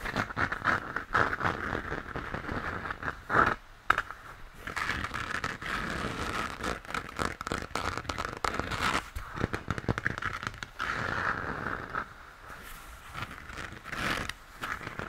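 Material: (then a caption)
Plastic. Fingers scratch and tap the textured surface of a hollow plastic moon lamp, lit yellow, while holding it. Close, dry crinkly scraping and crackling runs throughout in uneven bursts, with a mid-range tonal ring and occasional sharper ticks.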